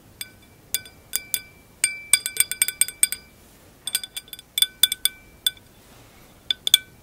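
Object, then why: Glass wine glass. Long acrylic nails tap and scratch the flat round foot of a clear glass wine glass. Around two dozen bright, high-pitched clinks ring near 3.4 kHz in an irregular rhythm, each dying away almost instantly, with near silence between them.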